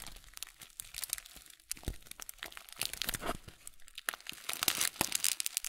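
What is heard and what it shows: A full blue plastic Kölln oat flakes bag is held horizontally and then upright while fingers squeeze and crinkle it. The result is a dense run of sharp, bright crinkling and crunching bursts with little low end and almost no ring.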